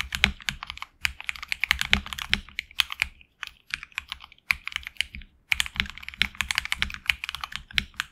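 Fingertips of both hands type on a HyperX Alloy Origins Core tenkeyless mechanical keyboard with HX Red switches, PBT plastic keycaps on an aluminum plate and a hollow case. Bursts of rapid, bright, clacky keystrokes with very short decay follow one another, with brief pauses around three and a half and five and a half seconds.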